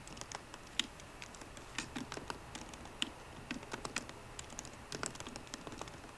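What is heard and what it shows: Fingertips of both hands type on the plastic keys of a 13-inch MacBook Pro keyboard set in an aluminum body. The result is a quiet, irregular stream of quick, bright clicks and taps, each dying away almost at once, with a few slightly louder keystrokes standing out from the steady patter.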